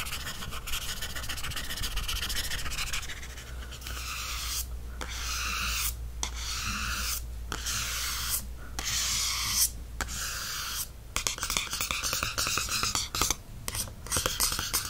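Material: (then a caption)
Cardstock. A fingertip and nails scratch and trace across the glossy cardstock back cover of a softcover paperback held in one hand, including the barcode area. Bright, dry rubbing and scratching strokes run in bursts separated by brief pauses, over a steady low hum.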